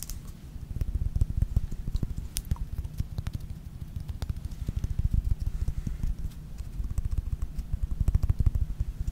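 Long nails tap rapidly and continuously on a small, thick, clear faceted glass perfume bottle (Versace Bright Crystal) held in one hand and partly filled with liquid. The dense, dull clicks stay low and short, with a faint bright tick on some strikes.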